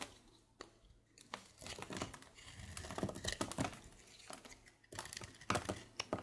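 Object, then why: Soap bar. A palm-sized, solid light-blue oval bar of soap is held in one hand and shaved with a red patterned carving blade, so thin flakes fall onto a dark surface. The sound is a run of dry, crinkly scraping strokes, some short and sharp and others longer rasps, with bright edges and quiet pauses between cuts.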